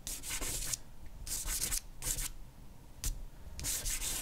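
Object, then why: Charcoal block on drawing paper. A compressed charcoal block held in the hand is rubbed broadly over a flat white sheet of drawing paper to shade hair. It makes a dry, bright, hissy scratching in bursts of repeated strokes with short quiet gaps between them.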